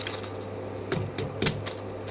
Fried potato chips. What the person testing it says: आप आवाज सुन सकते हैं क्रिस्पनेस इनकी